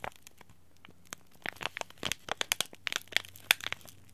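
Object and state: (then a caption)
Plastic-foil tea bag packet. A small green laminated plastic-foil tea bag packet is crushed and crinkled between the fingers, then rubbed with the thumb. Sparse quiet crackles at first build into a dense run of sharp, bright crinkles and snaps, each dying away almost instantly, over a faint low hum.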